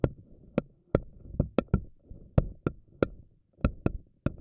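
A pink silicone spiky anemone ball has its single silicone tentacles stretched and plucked with fingernails, each one snapping back. Twelve sharp, dry snaps come at an irregular pace, each with a quick bright click over a low rubbery thrum that fades almost at once.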